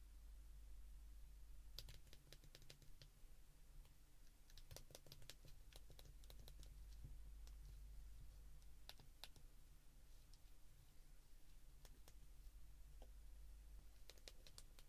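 A handheld white plastic flip phone has its keypad pressed by a thumb, giving quick, sharp, bright clicks in irregular bursts. The clicks are quiet and sit over a steady low hum.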